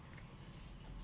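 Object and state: Nothing is struck.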